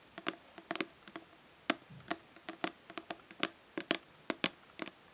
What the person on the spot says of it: Nail tapping on plastic body lotion bottle.